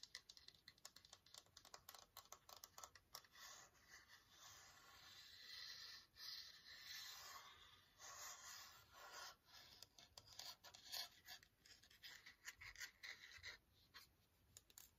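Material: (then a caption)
Plastic. A long, hollow, frosted clear plastic case is held vertically and scratched and rubbed with fingernails. Quiet, bright, dry scratching ticks come in quick runs, easing into smoother rubbing strokes in the middle before the crisp scratching picks up again.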